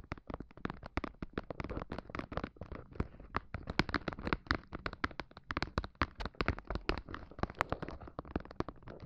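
Long pointed black nails tap a thin, flat, solid red plastic mat held horizontally across the tops of two microphones. A rapid, uneven stream of short, dry taps follows, each a soft low thump with a crisp bright click that dies away almost at once.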